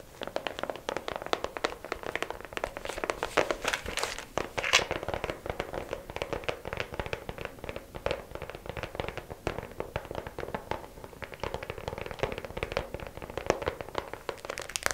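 Long acrylic nails tap rapidly and handle a small, hollow, clear plastic organizer case with many compartments holding press-on nails, held in both hands. A dense stream of quick, dry, clicky plastic taps with a hollow ring around 530 Hz mixes with light rattling and crinkling handling noise. Each tap dies away almost instantly.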